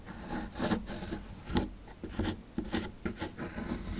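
A chisel tool scrapes and rasps at a small solid plaster fossil dig block, crumbling the powdery plaster. Repeated gritty scraping strokes swell and fade in uneven bursts, with a low, dry body and a faint bright hiss on each pass.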